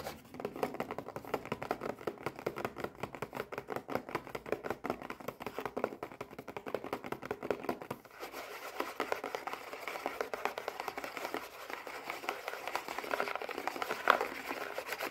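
Long red nails tap and scratch the flat side of a small, hollow printed cardboard Kinder Joy box held horizontally with its end flap partly open. For the first half, quick dense nail taps give hollow, papery clicks; then the sound shifts to a softer, brighter scratching patter that keeps up to the end.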